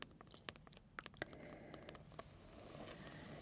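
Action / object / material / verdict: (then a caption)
tap / paperback book with card cover / card / none. Fingertips and long nails tap and scratch the glossy card cover of a large, thick paperback coloring book. Quiet, sharp, irregular taps with almost no ring come over the first two seconds or so. A soft, steady scratching hiss follows to the end.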